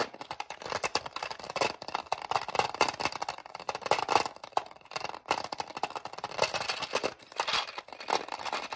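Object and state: Plastic bobbin storage case.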